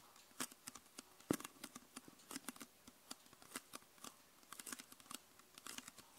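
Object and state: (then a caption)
Plastic soda bottle. Long nails tap the lower plastic part and red label area of a hollow, mostly empty clear PET Coca-Cola soda bottle. About thirty quick, dry, irregularly spaced taps with bright clicky edges sound, each dying almost instantly, with one louder, hollow-sounding knock near the start.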